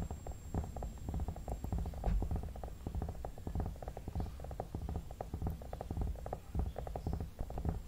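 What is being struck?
Vinyl mannequin head.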